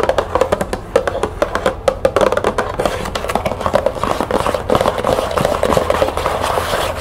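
Long nails tap and scratch a small, closed, green cardboard tea box with tea bags inside, held and set on a table. Quick, dry, hollow taps with a tone near 465 Hz come first. They give way to a denser, brighter scratching texture with continued tapping.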